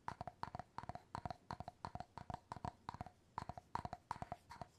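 Fingertips and nails tap and scratch the wooden bamboo lid of an empty glass jar, up close. About thirty short, dry, woody taps come in quick rhythmic clusters, each with a hollow tone near 940 Hz that dies away almost instantly. Faint scratching fills the gaps between them.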